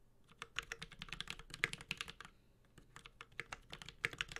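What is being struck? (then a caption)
Mechanical keyboard with plastic keycaps. A Space65 Cybervoyager 65% mechanical keyboard with Holy Panda switches, a metal case, a carbon fiber plate and GMK ABS plastic keycaps is typed on with the fingertips of both hands. It makes a steady stream of short, bright, clacky key taps that die away almost instantly, with a brief lull around the middle of the clip.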